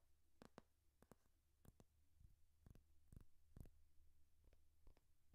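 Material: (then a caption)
Paper. Fingernails tap and scratch the cover and page edges of a thick hardcover paper textbook, a solid paper block. About a dozen quiet, short, dull taps come at an uneven pace over a steady low hum.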